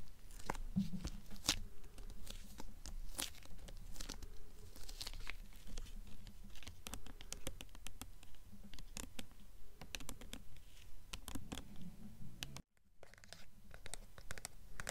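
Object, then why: Hardcover book with paper dust jacket. Long nails tap and scratch the paper dust jacket of a blue hardcover book, held facing forward and then tilted. Quick, fairly steady dry taps at about two per second mix with soft papery scratching and crinkling, mostly low and muted with brief bright clicks. There is a short moment of near silence near the end before the tapping resumes.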